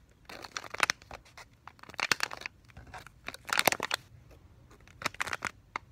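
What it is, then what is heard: Full foil-laminate pouch. A hand-sized foil-laminated plastic pouch of Delta-Lite casting tape, full with a soft roll inside, is squeezed with fingertips and nails and shaken. It gives bright, crinkly crushing and scratching sounds in four bursts of rapid crackles, with quiet gaps between them. The crackles stop dead with no ring and almost no low end.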